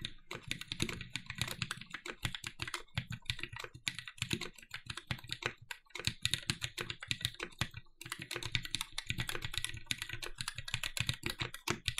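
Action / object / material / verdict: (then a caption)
tap / mechanical keyboard with aluminum plate and plastic keycaps / aluminum, plastic / none. A compact red-cased TGR 910 SE mechanical keyboard with Cherry MX "Vintage" Black switches, an aluminum plate and black plastic keycaps is typed on continuously with the fingertips of both hands. Rapid, dry key clacks with a bright top and a low thock fill the clip, with brief pauses around the six and eight second marks.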